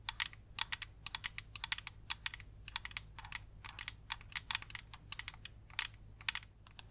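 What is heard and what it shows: Long yellow nails tap and scratch a small white and yellow plastic mini projector with a hollow casing and a lens, held in the hands. A rapid, uneven run of sharp, bright plastic clicks plays, each dying away almost instantly, over a faint steady low hum.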